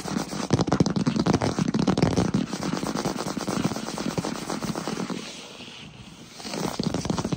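Fingertips and short nails tap and scratch rapidly on a solid wood-look plank floor, making a dense, uneven crackle of dry clicks and scrapes. The clicks carry a low thud around 170 Hz. The activity eases off and quiets around the sixth second, then picks up again at the end.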